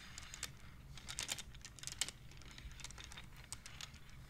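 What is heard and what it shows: Fingers slide and clack the painted wooden beads of a wooden abacus. Quick, light, dry clicks come in an uneven flurry, bright and short with almost no ring, over a quiet low rumble.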